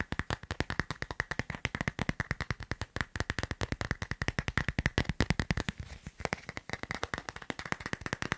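A smartphone in a transparent plastic case with a line-drawing design is held in the hand and tapped quickly by fingertips and nails on its back and edges. About 68 short, dry taps follow in a rapid, uneven stream, each with a soft low thump and a brighter click near 2 kHz that dies away almost at once.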